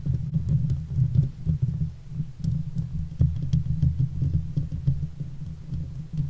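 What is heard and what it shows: Long fake nails on both hands scratch the hollow steel mesh grille of a silver Blue Yeti microphone. The result is a deep, muffled, continuous rumble of rubbing strokes, almost all energy low around 130 Hz, with faint brighter ticks now and then.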